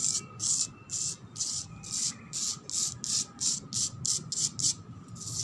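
A cement floor is scratched in 15 quick, rhythmic strokes. Each stroke is a dry, bright rasp like sanding, with almost no low end, and the strokes come slightly faster toward the end.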